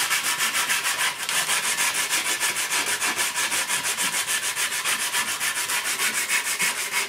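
An old, rusty steel shovel head of thin sheet metal lies on a workbench, held by its socket while a small wooden sanding block wrapped in sandpaper is rubbed back and forth across the blade. The result is a steady, bright, scratchy rasp that pulses at about three strokes per second, with almost no low end.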